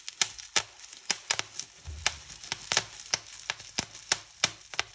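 Fingertips and long nails pinch single bubbles on a clear plastic bubble wrap sheet one by one. This gives a rapid series of sharp, bright pops with very short decay, over faint crinkling of the plastic.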